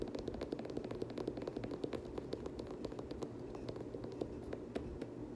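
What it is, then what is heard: Sneaker tapped and scratched with fingertips. Fingertips and nails tap and scratch the foam/plastic midsole and nubuck upper of a hollow black, blue and gold Air Jordan 7 sneaker. A steady run of quick, dry taps sits over a continuous scratchy rustle, with a muted mid-low body and very little ring.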